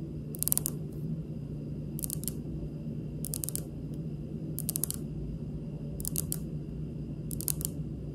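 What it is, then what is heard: Granite countertop. The tips of long pink nails on both hands tap a large, solid, polished, speckled granite stone countertop. They make six short bursts of light, crisp clicking taps, spaced about a second apart, over a steady low background hum.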